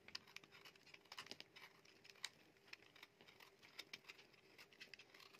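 A solid, dry, light green bar of soap is carved with a metal utility knife blade into thin slices held in the palm. Quiet, crisp, bright scraping clicks and crackles patter along in quick, uneven bursts, each dying away at once, over a faint steady low hum.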